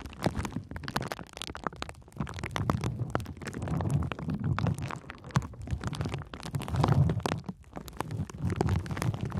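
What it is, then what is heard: Plastic bubble wrap. A sheet of clear plastic bubble wrap with air-filled bubbles is wrapped around the microphone while long nails and fingertips press and scratch the bubbles. The result is a dense, continuous stream of sharp crackling clicks and scratchy rustles over a heavy, muffled low rumble, swelling and fading in uneven waves.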